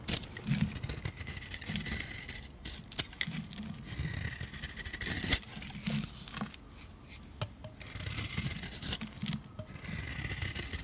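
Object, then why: Bar of soap carved with a metal blade. A metal blade carves thin strips from a solid oval yellow soap bar held in the hand. Dry, bright scraping strokes repeat with soft low handling thumps between them.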